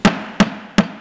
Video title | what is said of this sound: Making a multi size and count cone thread stand out of upcycled supplies Jen Blausey | you'll hear that kind of harder sound when you hit the bottom